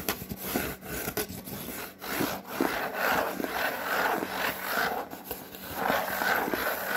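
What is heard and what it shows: Fingernails and fingertips scratch and rub across a white cardboard Priority mail box. Dry, papery scraping strokes rise and fall in an irregular rhythm, with a midrange body and a bright, hissy edge over a steady faint hiss.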